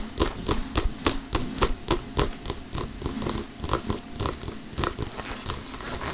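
Fingertips and short nails of both hands tap and lightly scratch an inflated, hollow soccer ball with synthetic leather panels, held in front of the chest. A steady run of soft, dull, hollow taps comes at roughly even spacing, each with a brief bright click. Faint scratchy texture fills the gaps and the taps grow less distinct toward the end.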